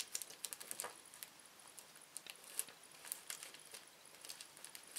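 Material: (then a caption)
Plastic. A small, thin, empty red-orange printed plastic Anta Flu candy wrapper lies flat on a wooden table and is pressed, smoothed and crinkled with the fingertips of both hands. Quiet, bright crinkles and sharp little crackles come in quick, uneven bursts with almost no low end, over a faint high hiss.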